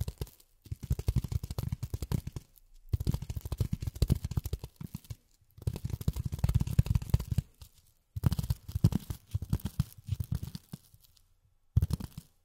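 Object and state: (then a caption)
Polyethylene foam. Long fingernails rapidly tap on a piece of polyethylene foam in five bursts separated by short pauses. The taps are quick, dull and muffled, with most of their energy low and almost no ring after each hit.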